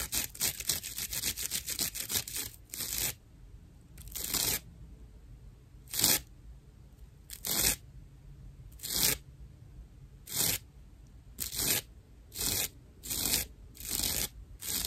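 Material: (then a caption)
Plant fibre. Long nails scratch the rough top surface of a dry natural loofah pad made of fibrous plant material. A rapid run of crisp, bright scratching strokes is followed by separate, airy scrapes with quiet pauses between them.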